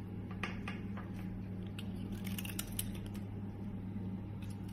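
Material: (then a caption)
Soap. A metal utility blade scrapes and shaves curls from a solid green rectangular bar of soap held in the hand, and the shavings fall onto yellow soap crumbs below. Soft, crisp scraping strokes with bright edges come and go throughout, over a steady low hum.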